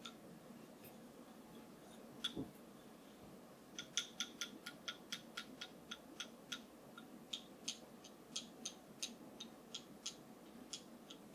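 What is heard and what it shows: A wooden massage tool is tapped, giving short, bright, dry clicks that die away almost instantly over a soft, steady background hiss. A few scattered taps come first, then a quicker, fairly regular run of taps continues to the end.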